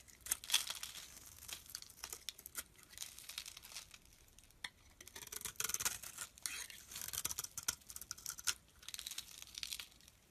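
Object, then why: Bar of soap. A solid olive-green bar of soap, held in the hand, is shaved into layered curls with a utility knife blade. Dry, crisp scraping strokes rasp and crackle in bright bursts with quiet gaps between them, almost no low end and very little ring.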